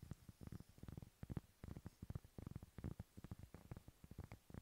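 A large, thin, solid round cork board or trivet is held up close in front of a microphone while fingertips scratch and rub across its textured cork surface. The result is a quick, uneven run of short, soft, muffled scraping strokes, mostly low and rumbling with little brightness.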